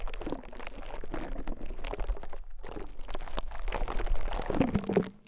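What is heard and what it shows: A small, soft white konjac sponge piece resting on top of a mic capsule is pressed and scraped with a rose-gold metal ear pick or tweezers. This gives a continuous stream of close, crunchy, squishy, wet crackles. The sound is heavy in the low end, with a brief near-silent gap midway and a short fade at the end.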